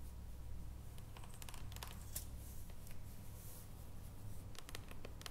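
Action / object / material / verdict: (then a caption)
tap / foil-wrapped dark chocolate bar / chocolate / none. A solid dark chocolate bar, first held in both hands and then stood upright on its foil, is tapped with long nails. The result is quiet, scattered bright clicks and ticks over a steady low hum.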